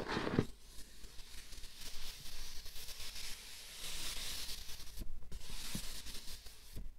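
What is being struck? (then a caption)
Closed cardboard gift box. Glittery manicured nails scratch and rub the printed lid of a closed, hollow, light-blue cardboard gift box, and fingertips tap on it. The result is a steady, dry, bright scraping hiss, broken by a few soft, dull taps that die away almost at once.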